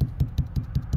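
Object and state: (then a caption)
Solid wall spot over a stud. A steady series of evenly spaced knocks on wall sheathing over a wood stud, in walls framed 16 inches on center. Each knock is a dull, deep thud that dies away almost at once, with no hollow ring. The solid sound marks the spot as a stud.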